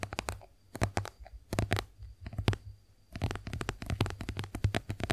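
Long acrylic nails tap and scratch a white soft plastic squeeze tube of face wash cream, hollow and partly filled, which is then tilted in the hands. Irregular bursts of quick, dry clicks carry a hollow, low thud beneath bright ticking edges. After a brief near-silent pause, the tapping returns in a denser, steadier run.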